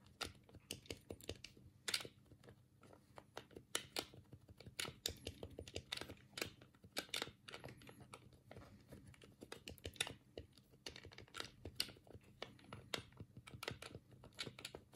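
A black hollow plastic Sega control pad is held in both hands while the thumbs rapidly click its D-pad and face buttons. The result is a quiet, irregular stream of short, bright plastic clicks and taps that stop almost instantly, over a faint steady low hum.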